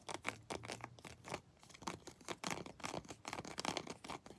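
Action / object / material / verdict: scrape / textured plastic action figure / plastic / none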